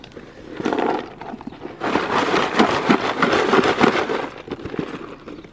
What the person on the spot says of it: when you shake it it sounds like there's stuff in it